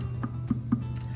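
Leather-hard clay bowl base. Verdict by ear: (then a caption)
Hollow. Light taps on the base of a leather-hard clay bowl being trimmed thin on a potter's wheel give short, hollow, plastic-like knocks over a low steady hum. The hollow sound means the trimming is almost all the way through the bottom.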